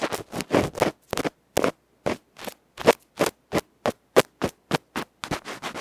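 A bamboo ear pick scratches across the dark felt front of a small metal electret microphone capsule held in fingers. The result is a rapid series of about 22 short, rough scratching strokes, each a brief broadband rasp with a dry, close sound and no ring after it.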